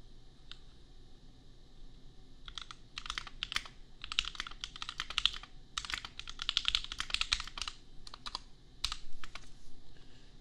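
Fingertips type on a compact $250 custom mechanical keyboard with red/pink plastic keycaps and Gateron Milky Yellow switches. Bursts of quick, bright, clacky keystrokes with very short decay come in clusters, separated by brief pauses over a low background hum.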